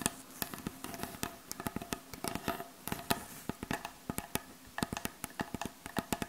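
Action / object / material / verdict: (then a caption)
tap / wooden butcher block board / wood / none. Long acrylic nails tap and scratch across the surface of a solid, light wooden butcher block board. The result is a quick, irregular series of sharp, dry clicks with almost no ring, carrying a faint tone around 690 Hz, with soft scratching between the taps.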